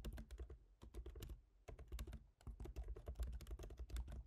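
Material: Plastic.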